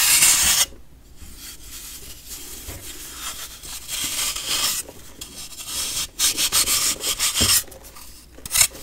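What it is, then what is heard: Compressed baking soda block. A metal knife shaves and scrapes the surface of a solid, compressed baking soda block held by fingertips. Bursts of bright, gritty rasping alternate with quieter stretches of soft scratching.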